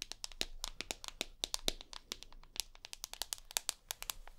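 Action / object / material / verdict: tap / smartphone with glass screen and aluminium frame / glass, aluminium / none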